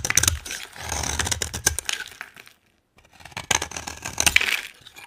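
A utility knife scrapes and carves the top edge of a solid, dry orange bar of soap, making bright, crisp scratching and crackling clicks. The dense shaving sounds break off into a brief silence midway, then resume with sharp snaps before fading.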